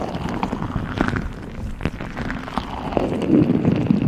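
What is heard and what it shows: A hand-sized, clear, soft rubber or plastic squeeze ball filled with small translucent beads is squeezed and scratched with long acrylic nails, and the beads shift inside. The result is a dense, muffled run of soft squishes, crackles and tapping clicks, mostly low and warm with little brightness, swelling slightly toward the end.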